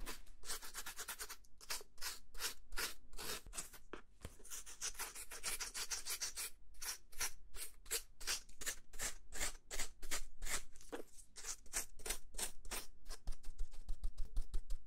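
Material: Plastic.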